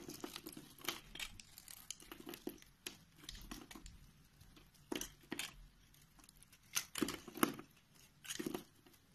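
A solid white bar of soap, held in the hand, is sliced with a box-cutter blade that shaves off thin layered sheets. The clip is a series of soft, dry scraping and crinkly cutting strokes with bright, crisp edges, some louder, longer cuts standing out among quieter shaves.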